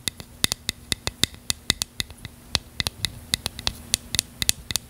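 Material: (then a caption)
Plastic. A small hollow bottle of translucent purple plastic, held in one hand, is tapped and scratched with long fingernails near the cap. About 26 quick, sharp clicks ring out in an uneven rhythm. Each is bright and thin, centred around 3.6 kHz, and dies away almost instantly over a faint low hum.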